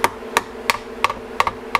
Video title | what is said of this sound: 1994 Club Car DS, Gas - No Crank, Fix Starter Generator, Replace Voltage Regulator | hear that solid bottoming out